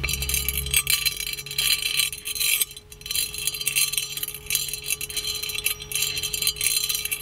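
The chained lid of a gold-plated metal magic lamp is lifted and jiggled, so the chain and lid clink against the lamp's hollow body. A dense run of quick, bright metallic clinks and jingles, each with very short ring, continues throughout with a brief quieter dip near the three-second mark. A faint steady tone hums underneath.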